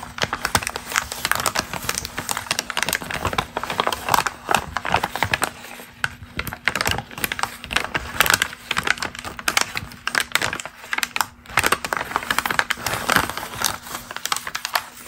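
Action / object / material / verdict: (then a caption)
scrape / glossy magazine paper page / glossy paper / none. A single thin, crumpled glossy magazine page printed with a watch and shoe ad is held in both hands over other loose pages while long green nails scratch and tap it and the fingers flex and crinkle the paper. The result is a dense, continuous stream of crisp, dry crackles and sharp little taps, bright and papery, with a faint steady low hum underneath.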